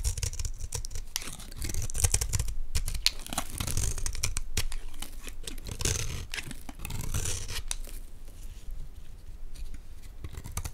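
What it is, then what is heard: Olive oil bar soap being shaved with a blade. A metal utility blade scrapes dense, crumbly shavings off a palm-sized, solid greenish Dalan olive oil bar soap held in one hand. Rapid, uneven scraping and crackling strokes run throughout, with a dry tearing, crinkly texture over a low, muffled body.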